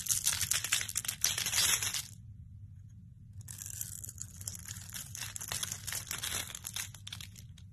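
A solid, palm-sized oval bar of soap, gold-coated over orange soap, is held in the hand and scraped and shaved with a metal utility-knife blade. Dense, bright, crackly scraping is loudest for about two seconds, pauses for about a second over a faint low hum, then resumes more softly and steadily to the end.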